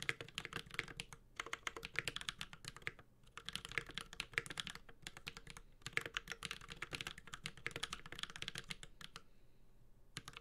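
A 65% mechanical keyboard with a metal case, carbon fiber plate, ABS keycaps and Holy Panda switches is typed on rapidly with the fingertips of both hands. Bursts of bright, clacky key taps run almost continuously, with a few brief pauses between bursts. The typing trails off into quiet near the end.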